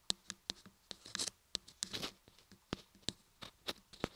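Long fingernails on both hands tap and scratch the sides of a solid cream laundry soap block embossed with lettering and carved into ears on both sides. Sharp, bright clicks with almost no ring come in quick irregular bursts, with short scratchy rustles between them.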